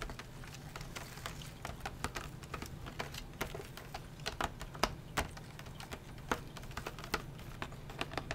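Fingertips and nails tap rapidly on a flat printed cardboard drawing-set box lying on a bamboo mat, striking both the cardboard and its round clear plastic window over the pencils. The result is a quick, uneven patter of short, dry clicks with bright edges over a soft low hum, each tap dying away almost at once.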